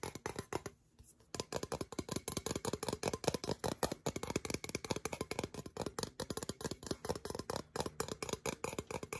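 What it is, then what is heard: Small metal tin. A small, hollow, gold-colored metal tin is tapped and scratched with long nails. Quick, dry taps and scratches follow one another, with a short pause near the one-second mark.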